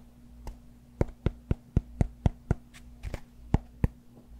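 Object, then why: Cork yoga block. Fingertips and nails tap and scratch the surface of a rectangular solid cork yoga block held in the hand close to a fluffy microphone. Short, dry, dull taps come in a mostly steady rhythm, with a brief softer scratchy brush near the end, over a faint low hum.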